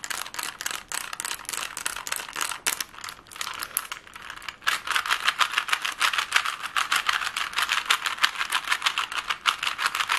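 The layers of a plastic Rubik's cube are twisted quickly by fingers, producing rapid, dry plastic clicks and rattles that are bright with almost no low end. The clicking eases briefly around the middle, then returns louder and denser, running as a fast, uneven stream of short snaps.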